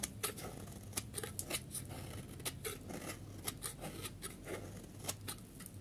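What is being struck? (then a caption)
Bar of soap cut with a metal blade. A solid yellow bar of dry soap, held in the hand, is scraped and carved with a metal snap-off utility blade. Each pass makes a sharp, crisp, bright scrape that cuts off quickly, heard as a steady series of cuts over a quiet low hum.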